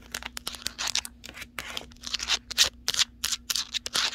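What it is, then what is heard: Cardboard box tapped and scratched with nails. Long nails tap and scratch across the surface of a large, hollow cardboard TV box with a taped edge. It makes a quick series of short, dry, bright taps mixed with longer scratchy swishes, each dying away almost at once. A faint steady low hum sits underneath.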